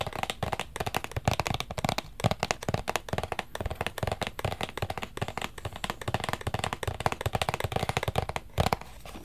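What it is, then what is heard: Cardboard gift box tapped and scratched. A small, hollow, black rigid cardboard Versace gift box is held in both hands and tapped and scratched with fingertips and nails. A dense run of quick, dry taps gives hollow, low-pitched knocks that die away almost at once, mixed with a light, bright scratching texture between them.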